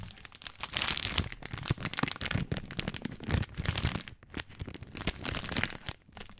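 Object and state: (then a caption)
Plastic spaghetti package, full. A full plastic-film spaghetti bag, held horizontally close to the mic, is tapped and crinkled by fingertips. Dense, dry crackling runs throughout, with bright rustling on top and soft low thumps from the taps. Brief lulls break up the crinkling, with no ringing tail.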